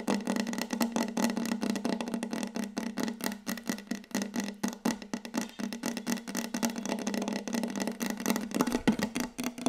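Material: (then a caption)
Wood. Long yellow acrylic nail tips on both hands rapidly tap a large, solid, glossy wooden tabletop close up. The result is a dense, continuous stream of short, dry clicks with a hollow woody resonance around 215 Hz and a bright clicky edge, each tap dying away almost instantly.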